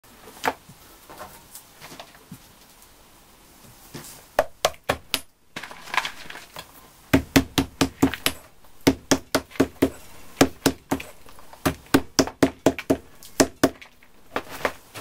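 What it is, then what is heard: Dry clay lumps. A flat tool is worked by hand through a pile of broken, bone-dry clay lumps in a white plastic basin, with a wooden mallet handle lying among them, breaking and scraping the solid pieces. Sharp, short, dry knocks and cracks come in quick irregular runs, with quieter scraping and crumbling between them. The hits have a hollow midrange tone from the basin, little low end and almost no ring.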